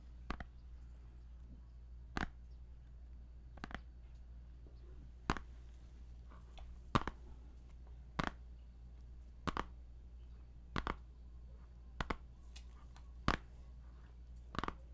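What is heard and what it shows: A small, hollow plastic CD jewel case still in its cellophane shrink-wrap is held in the hand while fingertips and nails tap and scratch its surface. Sharp, dry clicks with a slight crinkle land at roughly even intervals of one to one-and-a-half seconds, some doubled, each dying away almost instantly over a steady low hum.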